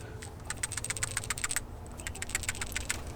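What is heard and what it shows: A new metal replacement PCV valve for a Nissan Sentra is shaken by hand for comparison. It gives a clear, fast rattle of sharp clicks, which shows the valve is good.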